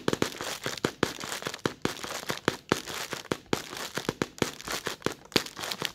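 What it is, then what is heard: Thin plastic bag being crinkled. Short red-polished nails scratch and crinkle a thin, white, translucent plastic bag, working over its creased film in steady close-up. Rapid, sharp crackles and snaps burst over a bright rustling hiss, each dying almost instantly, and form a dense, dry crinkling texture throughout.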